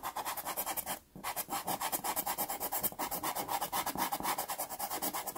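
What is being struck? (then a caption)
Wooden pastel pencil on sanded pastel card paper. A natural wood pastel pencil is rubbed with repeated strokes across the textured surface of a small taped sheet of sanded Pastelmat pastel card. The result is a steady run of quick, dry, scratchy rasping strokes with a bright gritty edge, broken by one brief pause near the start.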